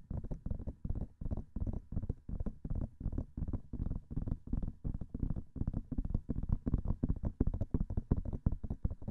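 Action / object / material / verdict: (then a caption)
tap / silicone microphone ear / silicone / none. Nails and fingertips tap rapidly on the hollow white silicone ears of a binaural microphone. The result is a steady run of fast, muffled, thumping taps in quick bursts, deep and bassy with almost no brightness and no ring after each hit. No voice is heard.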